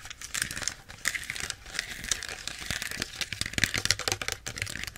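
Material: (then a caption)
Plastic. Long nails quickly tap and scratch the plastic label and cap area of a small plastic Pepsi bottle. The result is a dense, crinkly plastic sound of sharp, bright clicks and rustling scrapes with very little low end.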